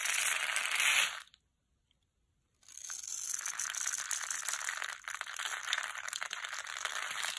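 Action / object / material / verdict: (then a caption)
scrape / bar of soap shaved with a knife / soap / none. A utility knife scrapes and carves the dry surface of a solid pink oval bar of soap held in the palm, shaving it into small bits. Bright, dry crunching and scratching comes in dense bursts, breaks off into about a second of silence, then resumes as a steady, crackly scrape to the end.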